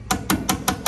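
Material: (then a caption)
Steel. Five quick taps along the rusted steel rocker panel of a 1981 GMC truck give short, bright knocks that die away fast. The spot is still weak from rust, not yet solid.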